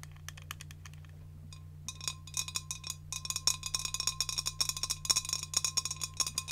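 A large, clear, empty glass jar is held in the hand and tapped with long decorated nails. Quick, bright, clicky taps start sparse and quiet, then grow into a faster, denser patter, with a faint hollow ring near 1 kHz. A steady low hum runs underneath throughout.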